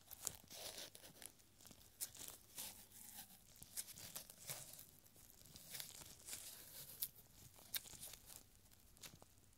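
Gloved fingertips in purple nitrile unroll, pull and crinkle a thin, narrow strip of yellowed paper reading "This is supposed to be funny?!" held stretched between two hands. The quiet, bright, crisp crinkling comes in short bursts with sharp crackles and snaps that stop instantly, with little low end.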